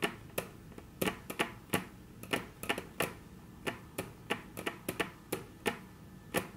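Very long natural nails tap on a flat, solid, dark brown wood-grain tabletop, giving about twenty short, bright clicks in an uneven rhythm. Each tap dies away almost at once, leaving quiet gaps between them.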